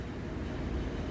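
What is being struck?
Nothing is struck.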